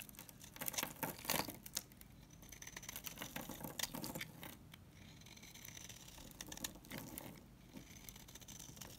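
A solid coral-pink bar of soap held in the hand is scraped with a utility knife, shedding dry crumbles. The clip is full of quick, bright, crisp scratching and crumbling strokes, denser at the start. Faint high, steady tones sit underneath.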